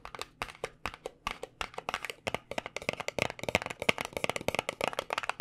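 A small white paperboard cosmetic box held in the fingers is tapped on its edges with nails and fingertips. It makes a quick, uneven run of many light, dry, papery clicks that stop almost instantly, with a bright crisp top and almost no low end. The tapping grows busier and slightly louder toward the end.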